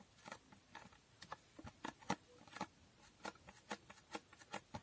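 Long nails rapidly tap and scratch a small hollow cardboard box with a holographic foil finish. About fourteen quiet, dry clicks and brief scrapes come in an uneven patter, each dying away almost instantly.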